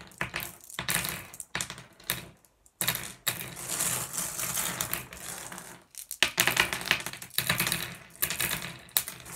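Fingertips nudge and slide a spread of small, solid blue glass gem pebbles across a wooden surface, making them click against each other. The result is dense clusters of bright, dry clicks and light rattling with very short ring, broken by brief pauses.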